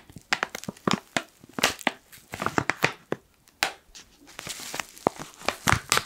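A black foil coffee pouch is crinkled and rubbed with fingertips. It gives a busy run of sharp, bright crackles and crinkles with short, dry snaps and almost no ring between them.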